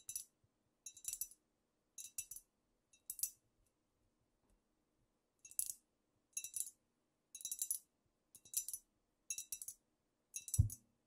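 Long nails tap with both hands on the sides and shoulders of a squat, wide amber glass cognac bottle with a paper label that looks filled with dark liquid. There are about ten quick bursts of bright, dry clicking taps with almost no ring, separated by short pauses. The clip ends with a soft low thump.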